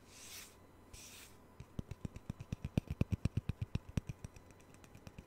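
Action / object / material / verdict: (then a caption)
tap / small thin round wooden disc / wood / none. A small, thin, solid round wooden disc, cut from a Taylor guitar's sound hole and used as a coaster, is held beside a knit-covered microphone and tapped and clicked with fingernails. Two soft, airy brushing sounds come first. Then a steady run of short, dry, woody clicks with low, knocking bodies grows louder near the middle and fades toward the end.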